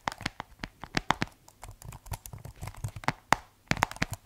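Fingertips type on the keys of a keyboard with a white plastic case, making about twenty quick, dry clicks and taps at an uneven rhythm. Each tap is short and crisp, with a hollow midrange tone near 870 Hz and a bright edge, and a few strikes land noticeably louder than the rest.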